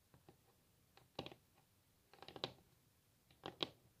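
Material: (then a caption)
Wood. Long natural fingernails of both hands tap and scratch a large solid wooden table top, possibly veneered. Soft, scattered clicks come first, then three bursts of quick, bright, dry taps with a light scratching texture, each tap dying away almost instantly.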